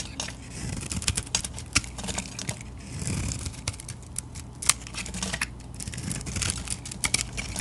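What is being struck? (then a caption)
Bar of soap. A small metal blade scrapes and shaves curls off an oval bar of Lux soap with a silver-glitter coating and pink inside, held in the palm. Many quick, dry, crisp scratches and carving strokes are heard, bright and papery, with short flicking peaks over a low, steady rumble.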